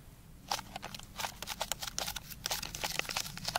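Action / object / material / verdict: shake / glass jar of tablets / glass / none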